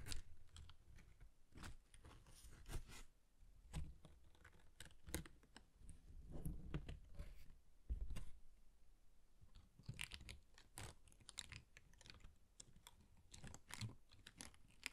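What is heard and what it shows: Fingertips tap and flick a layered yellow paper pop-up guitar on an open cream cardstock card, then fold the card. Quick, dry paper taps and crisp flicks come in uneven bursts over soft rustling and low, muffled thumps, each dying away almost instantly.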